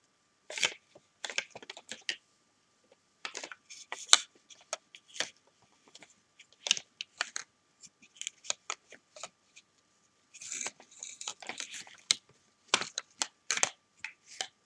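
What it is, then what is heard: Plastic toy building blocks. Large hollow plastic toy building bricks are clicked together, lifted and set down with long painted nails and fingertips. The result is a run of sharp, bright knocks and clicks in irregular clusters separated by short pauses, each dying away almost instantly.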